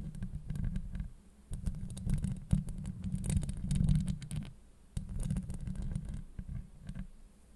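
Long acrylic nails scratch across a hollow steel mesh microphone grille. The sound is a dense, boomy scraping rumble concentrated in the deep lows, with thin bright crackles and sharp clicks scattered through it and stronger swells around the middle and near the end. It briefly dips quiet before each new pass.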